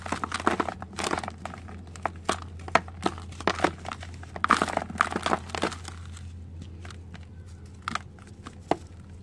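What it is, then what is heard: Dry soil clods crumbling. Fingertips and nails crush and rub large, dried red soil clods, solid and crumbly, over a white bowl of loose red dirt. The result is dry crumbling and crunching with sharp crackles as the crumbs fall onto the pile. The sound is dense and busy at first, then thins to sparse crackles over a steady low hum.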